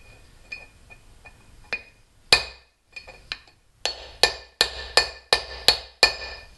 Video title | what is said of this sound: Replacing tapered roller Barings -- Volkswagen Wheel bearings A3 platform | Just listen for that solid sound.